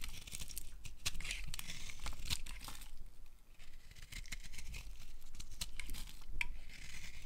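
A utility knife blade carves strips from a solid, dry, dark green bar of soap held in an open palm. A steady run of crisp, dry scraping and crumbly shaving sounds with bright edges sits over a low rumble, with a brief quieter gap midway.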